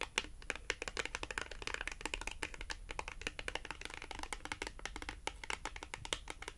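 A small, thin, flat, solid navy blue cardboard France Rugby product tag, held in both hands, is tapped and scratched with long acrylic nail tips. Rapid, dry, bright clicks and light scratching come in a steady, busy stream, each tap very short with no ring. A faint low hum sits underneath.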